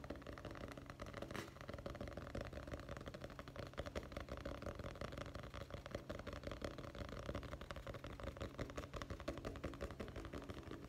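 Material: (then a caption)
Cardboard. Fingertips tap rapidly on the cover of a dark hardcover guest book with gold lettering, a solid cardboard-covered book held in the hands. The result is a dense, uneven stream of quick, dull, low-pitched taps with very short decay.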